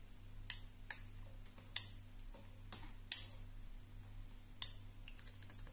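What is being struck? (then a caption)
Plastic hair straightener. Long nails tap along the plastic housing of a black hair straightener with purple plates. About seven sharp, bright clicks come at an uneven pace, some louder than others, each dying away almost at once. A steady low hum runs underneath.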